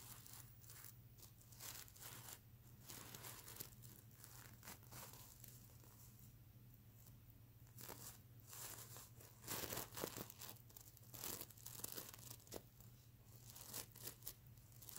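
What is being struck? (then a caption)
Plush pillow with plastic sequin surface. Fingernails scratch and rub the plastic sequin surface of a stuffed plush mermaid unicorn pillow, making bursts of crisp, crinkly scraping and rustling that sound almost like tearing. The scratching swells into louder, brighter flurries toward the end, over a steady low hum.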